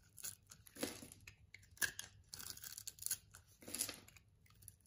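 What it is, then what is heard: Bar soap being scraped. A metal box-cutter blade scrapes and cuts thin shavings off a solid purple-and-white striped bar of soap held in the palm. The result is a series of bright, crunchy scraping bursts with quiet gaps between them.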